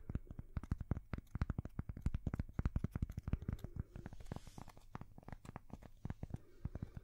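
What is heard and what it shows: A thin, solid square cork coaster held right at the microphones is tapped and scratched with long fingernails. A rapid, uneven series of very short, dull, bass-heavy taps follows, with a brief soft hissing scrape partway through. The sound is close and quiet, with no ring after each tap.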